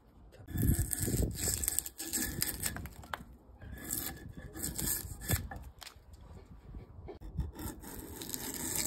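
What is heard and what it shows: A hand-held metal blade, a chisel or drawknife, scrapes along a solid round log about a forearm thick, partly stripped of bark and resting on a wooden workbench, peeling off bark as shavings fall. Heard are rough, uneven scraping and tearing strokes with a bright, hissy top and low woody thuds, the strokes swelling and fading continuously through the clip.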